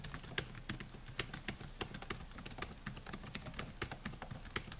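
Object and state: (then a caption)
Plastic laptop keyboard. Fingertips type on the plastic keys of a silver Dell laptop with a metal and plastic body, making repeated taps. The quick, dry clicks come in an irregular rhythm with a bright edge and almost no ring, over a faint steady low hum.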